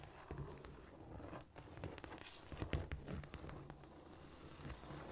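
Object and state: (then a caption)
Cork floor. Long nails tap lightly and sparsely on a flat, solid cork floor, giving quiet, short, dull knocks over a soft, crackling scratch. The sound stays low and muffled throughout.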